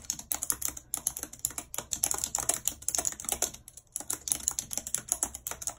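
Long red acrylic nails type rapidly on a full-size white plastic computer keyboard with a numpad and hollow keys, lying on a world map. Dozens of quick, bright, hollow clicks and taps come in a steady stream, with a brief pause near the end before the typing resumes.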